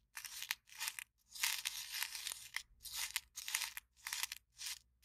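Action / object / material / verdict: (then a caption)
scrape / empty paper cup / paper / none. Long nails scratch and squeeze the wall of an empty, small, hollow white printed paper cup held upright. The result is bursts of bright, crinkling, tearing-like noise, with one longer stretch in the middle and short quiet gaps between bursts.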